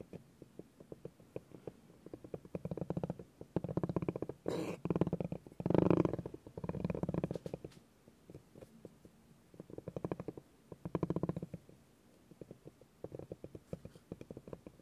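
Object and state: Bamboo cutting board with spiky ball rolled on it.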